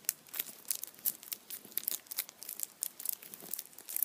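A hand-sized Kinder chocolate Easter bunny standing upright in printed aluminium foil has its foil squeezed and crinkled with the fingertips. The result is a quiet, rapid series of sharp, bright crinkles and crackles with almost no low end.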